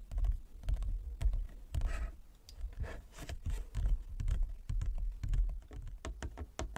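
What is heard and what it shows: Fingertips and long nails tap slowly on a large, flat, inlaid wooden chess board. The taps come in an uneven rhythm of dull low thuds with short, crisp clicks on top, and each one dies away almost at once. A brief, smeared scraping sound rises near the two-second mark.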